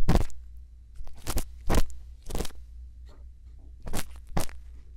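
A thin bamboo earpick scrapes inside the canal of a silicone ear on a binaural microphone, held steady in the other hand. Short, dry, crunchy scraping bursts run from low up to bright, separated by quiet gaps, over a steady low hum.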